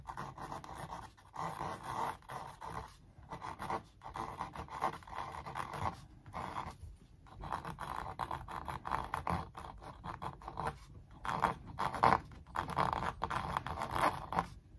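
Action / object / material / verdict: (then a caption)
scrape / stretched canvas print on wooden frame / canvas / none. A thin wooden stick scratch-traces the details of a large printed canvas stretched over a hollow-backed wooden frame. Quick, dry scratching strokes come in short bursts separated by brief pauses, with a papery rasp centred in the midrange around 700 Hz to 1 kHz. There is little low end and no ringing after each stroke.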